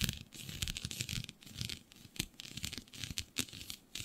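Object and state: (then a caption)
Synthetic stretch fabric being scratched. Long nails quickly scratch a flat sheet of black synthetic stretch fabric with a shiny dotted pattern. The result is a quiet, rapid run of bright, crackly scratching bursts with a soft low rustle underneath, each stroke dying away almost at once.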